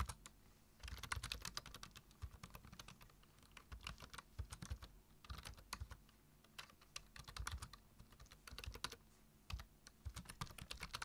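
Fingertips of both hands type rapidly on a black, hollow-bodied plastic computer keyboard with low-profile keys. Quick runs of dry, short clicks combine a low thud with a bright clatter, in bursts separated by brief pauses.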